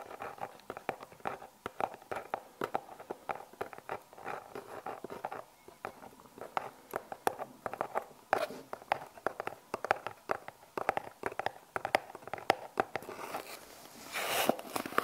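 A small, hollow brown cardboard product box with a barcode label, contents unseen, is held in the hands and tapped and scratched with long painted nails. Rapid, dry, crisp taps and clicks with a mid-range hollow tone come in quick irregular bursts, each dying away almost instantly. Near the end, a louder, brighter scratching rustle takes over.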